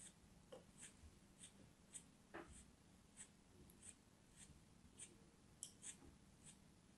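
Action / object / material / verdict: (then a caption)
scrape / block of kinetic sand / kinetic sand / none. A solid lump of blue kinetic sand, held in fingertips with long nails, is cut with a small knife. The result is quiet, dry, crumbling cuts and scratches, with short bright ticks recurring through the clip over a steady low hum.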